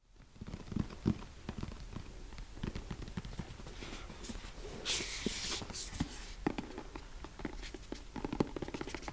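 A medium-size, closed, hollow printed white cardboard retail box for the Rode M5 microphones is held in one hand and tapped on its face and side with the fingertips and nails of the other hand. Rapid, dry taps make soft hollow thuds mixed with crisp, bright nail clicks, with a short brighter scratchy rustle partway through. Each tap dies away almost instantly.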